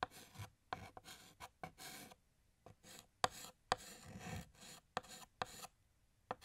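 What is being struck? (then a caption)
Chalk stick on a chalkboard. A blue chalk stick held in the fingertips draws small notes and dashes on a large, flat, solid black chalkboard. Quiet, dry scratching strokes alternate with brief pauses, and nine sharp chalk taps stand out. The sound has a rasping, bright edge and almost no ring after each tap.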